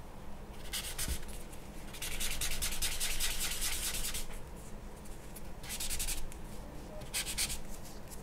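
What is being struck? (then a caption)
Paper drawing sheet rubbed with a blending tool. A grey blending stump or charcoal tool is rubbed across the charcoal-covered surface of a large white drawing paper sheet lying on a wooden table. Bursts of bright, dry scratchy rubbing come in quick back-and-forth strokes, easing off into softer shading between passes, over a steady low hum.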